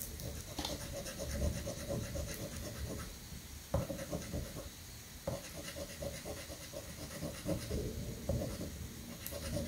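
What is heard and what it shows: A coin scratches the top strip of a new, thin paper scratch-off lottery ticket resting on a granite countertop. Three bursts of rough, gritty scraping come in short strokes over a steady low rumble.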